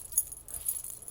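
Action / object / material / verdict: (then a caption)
shake / plastic medallions on a fabric waist wrap / plastic / none. Plastic medallions hanging from a belly dancing waist wrap, whose top part is metal, are shaken near the mic. They give a soft, bright jingling of light clicks and rattles, mostly high in pitch. The plastic medallions mark it as an inexpensive piece of clothing.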